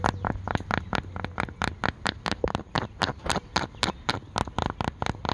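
A dark green cloth bucket hat with a stitched brim, soft and hollow, is held up outdoors and scratched and tapped with fingertips and paperclip-covered nails. About 23 quick, uneven, bright clicking taps land in a fast run, each dying away almost instantly. Steady rain fills the background with a low wash.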